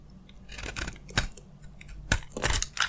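A utility knife blade scrapes along the surface of a solid, palm-sized white soap bar with a gold coating. Dry, crunchy scraping bursts with a bright hiss come in quick strokes, with a few sharper crackles standing out.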